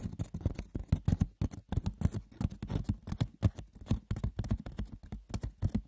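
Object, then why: Woven wicker basket. Fingers scratch and tap the textured woven surface of a wicker basket for ASMR, with no voices. A dense, quick patter of light, dry clicks and rough scratches follows, each sound dull and low-weighted and dying away almost at once.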